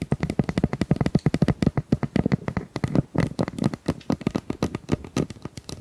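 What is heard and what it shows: A hollow, ribbed pink plastic pop tube is held in both hands while long nails scratch and tap along its corrugations. The result is a fast, steady run of short, dry, low-pitched clicks and ticks with no ring after each hit.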